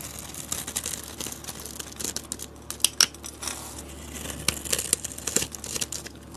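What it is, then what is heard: Bar soap being shaved. A box-cutter blade scrapes layered shavings off a solid white bar of soap held in the hand. The sound is a dry, bright crinkling and scratching made of many quick, short scrapes, with a few sharper crackles standing out. There is little low end, and each scrape dies away almost at once.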